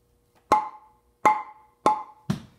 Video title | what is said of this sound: Tap Tone Test..... Alder, Basswood & Poplar | Poplar's got some funky overtones